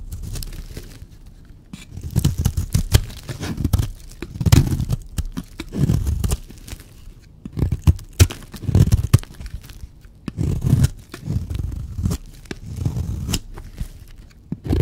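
A blade cuts and scrapes the surface of a solid, dry white soap bar. Repeated bursts of low, dull crunching and scraping rise and fall, with faint crisp ticks between the strokes.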